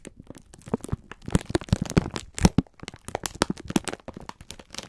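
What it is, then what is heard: Plastic-wrapped pack of sponge scourers. A full pack of sponge scourers in clear plastic film is squeezed and rubbed with both hands. The wrapper gives off a dense run of short, dry crackles and crinkles, with soft low thumps underneath and bright crisp edges. Each crackle dies away almost at once.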